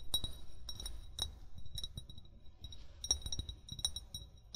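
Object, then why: Amber glass bottle. An upright, hollow amber (brown) glass bottle, its fill level not visible, is tapped with short fingernails and fingertips. The result is a quick series of light, bright glassy clinks and ticks with a high ring that fades almost at once, over a soft low rumble.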